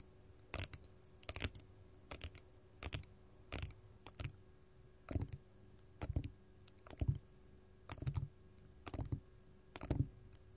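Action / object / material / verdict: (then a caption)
tap / faceted glass crystal tapped with long metal nails / glass / none. Long gold metal claw nails from both hands tap on a large, solid, faceted purple glass crystal resting on a table. Quick clusters of light clicking taps come in short bursts with pauses between them, each tap sharp and bright over a soft low knock. The taps die away almost instantly against a quiet, steady background.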